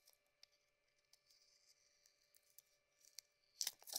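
A cream soap bar with a rose-gold coating is held in the hand and shaved with a metal blade, producing chunks and curls. Quiet, bright, dry scraping ticks and crackles come in short, irregular bursts over a faint steady hum, growing into louder, crisp shaving scrapes at the end.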